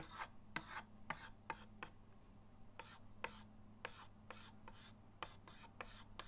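The side of a white chalk stick is rubbed in quick hatching strokes across a flat, solid chalkboard in a wooden frame resting on a table. Each stroke gives a short, dry, raspy scrape reaching into the high range, repeating in an uneven rhythm over a faint steady low hum.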